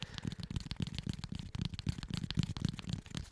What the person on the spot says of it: a deeper tapping sound because it's a pretty solid piece of foam